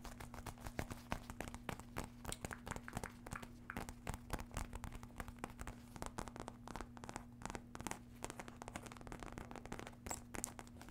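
Long red nails tap and scratch the surface of a small red faux-leather wallet clutch with a metal emblem and zipper, held close in front of a microphone. The clip is a quiet, steady run of soft, dry taps and crackly scratches over a low, constant hum.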